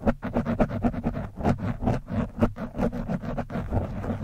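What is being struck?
Foam microphone windscreen scratched by a metal screwdriver tip.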